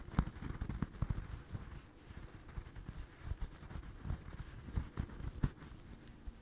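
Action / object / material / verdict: scrape / stuffed crocheted yarn doll / yarn / none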